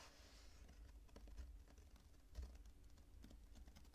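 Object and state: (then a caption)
Kinetic sand being squeezed. Purple kinetic sand is squeezed and broken apart between both hands and fingertips, with crumbs falling onto the pile on the table. Quiet, irregular crumbly scratches and soft bright ticks sound over a low, steady rumble, with a couple of slightly louder crunches along the way.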